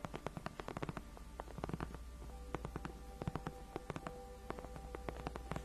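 Long nails scratch the edges and then the center of a large white padded faux-leather (PU) gaming chair backrest, solid and cushioned. The result is a quiet, rapid series of short, dry scratching ticks over a steady low hum, with faint sustained tones in the background.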